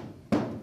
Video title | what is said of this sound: Custom Firewall - Part 2 - 1937 Rat Rod - Update 61 | you start tapping you can tell which ones are gonna rattle like crazy going down the road